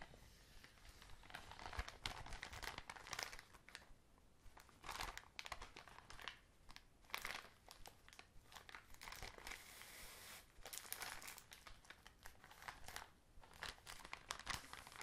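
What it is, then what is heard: Plastic bag of cotton pads. A hand-sized, full, soft clear plastic drawstring bag of Lycia cotton pads is squeezed and handled with long manicured nails and fingertips. Dense, bright plastic crinkling comes in bursts with brief softer pauses, and the sound stays close and quiet throughout.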